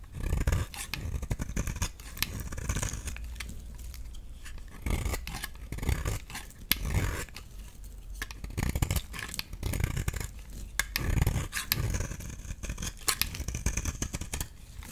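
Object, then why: Bar of soap. A solid, rounded light green bar of soap is held in the hand and shaved with a utility knife blade into flaky curls. Repeated dry, crisp scraping strokes come in bursts, with a bright crackle over soft low thuds. Short pauses fall between the strokes.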